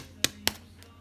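A golden brown French bread loaf fresh out of the oven is tapped twice, giving two short, bright, hollow knocks that die away almost at once. The hollow sound shows the loaf is baked through.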